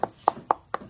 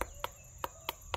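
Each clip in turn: First: ripe durian. Second: unripe durian.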